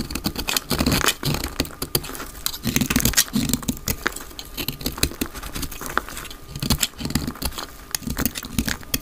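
A utility knife blade shaves a solid, palm-sized, dry light green soap bar held in the hand into flakes. Rapid, dry scraping and cutting strokes crackle with bright, crisp texture and a low undertone. Each stroke stops almost instantly, leaving a dense, steady patter of scrapes.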